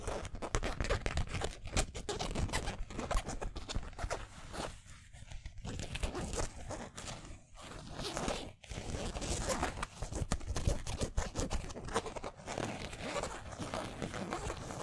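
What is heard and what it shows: Fingertips and nails scratch the twill lettering on a yellow San Francisco basketball jersey made of polyester mesh. The result is a dense, continuous run of quick, dry scratchy rasps with a low rumbling body and some bright texture on top. It eases off briefly around the five-second mark and again near eight and a half seconds before picking back up.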